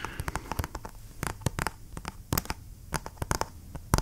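A flat, hollow, printed cardboard retail box for G.Skill RAM memory, held close to the mic, is tapped and scratched with fingernails. It makes a quick, irregular series of sharp, dry clicks and taps with a dull, hollow low thump beneath them and faint scratchy rustling between. Each tap dies away almost instantly.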